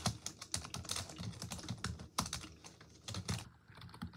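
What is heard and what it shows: Long acrylic nails and fingertips type rapidly on the hollow keys of a full-size black plastic desktop keyboard resting on a wooden desk. The result is a quick stream of short, bright clicky taps with a low thud under each keystroke, and a few sharper clacks stand out.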